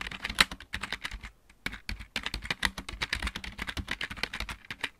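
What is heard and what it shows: Both hands type rapidly with fingertips and nails on a full-size backlit plastic mechanical computer keyboard with a hollow housing, in a dark room. Bright, clacky key taps come in quick bursts, with a brief pause near the middle. Each tap is short and dry, with a hollow plastic tone centered around 2 kHz.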